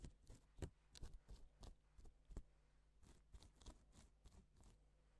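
A gloved fingertip strokes and flips the sequins on a flat, reversible pink and silver plastic sequin fabric sheet, drawing letters. The result is a quiet series of short, crisp, ticking swishes that reach up bright, over a faint steady low hum.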